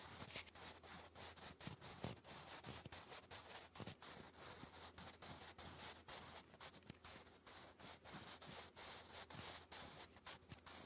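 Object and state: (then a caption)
Pencil writing on lined cardstock. A sharpened wooden graphite pencil writes English cursive across a thick sheet of grey lined cardstock lying flat. It makes a steady, bright scratching and rubbing with many quick, close strokes and a faint low hum underneath.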